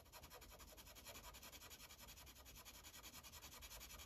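A light green Sharpie felt tip rubs quickly back and forth on a thin paper coloring page resting on a clipboard, filling in small circles. The result is a quiet, steady, bright scratchy hiss of rapid strokes with a faint low rumble underneath.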